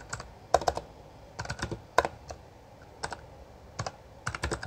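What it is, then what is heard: Plastic mechanical keyboard. Both hands tap with their fingertips on the plastic keycaps of a full-size backlit Bloody B820R mechanical keyboard, typing in irregular bursts. Each keystroke is a sharp, dry clack with a mid-pitched body around 700 Hz that stops almost instantly, with quiet gaps between the clusters.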